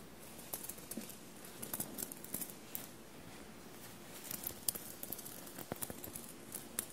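Short blue-painted nails scratch and tap a soft dark blue shirt bunched on a table and covered in small silver paillette studs. A quiet, steady scratching rustle runs throughout, broken by sharp, dry clicks with bright, high edges that stop instantly.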